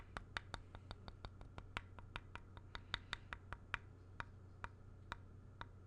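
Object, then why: Small painted wooden block tapped with a stylus tip. The tip of a thin black stylus or pen taps and traces the flat back face of a small, solid, grey-painted wooden block held up close to the mic. About twenty-two short, crisp, bright clicks land at an uneven pace over a low steady hum, with faint scratchy tracing between them. Each tap dies away almost instantly.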